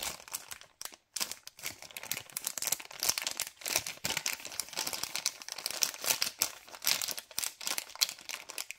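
The end of a white LDPE plastic bag holding cable ties is crumpled and crinkled between fingers. Dense, bright, crackling crinkles run almost continuously with almost no low end, pausing briefly near the one-second mark.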